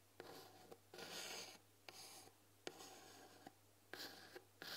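Fingernails tap on a white painted wooden tea box, then a fingernail scratches and traces along the painted lettering on its front. Sharp, short clicks alternate with bright, raspy stretches of scratching. A faint steady low hum sits underneath.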